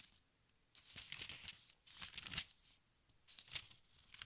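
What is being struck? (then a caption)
Large book with thin paper pages. Fingertips with dark nails turn and smooth the thin paper pages of a large open textbook, producing bright, papery crinkling and soft tearing-like rustles. The sound comes in several short bursts separated by near-silent pauses, with almost no low end.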